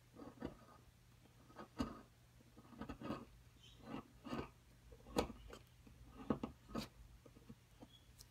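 A metal pick repeatedly scrapes and chips at a solid white plaster excavation block held flat. The clip has quiet, dry, scratchy scrapes and short crumbly chips, spaced out irregularly, with a low-mid body and no ringing.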